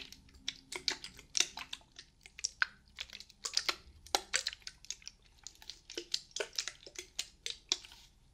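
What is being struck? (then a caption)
Small plastic spray bottle. Long painted nails tap a small, hollow pink-and-white dotted plastic spray bottle held close to a binaural microphone. The result is a rapid, uneven series of dry, bright clicks that stop almost instantly, with very little low end and quiet pauses between bursts.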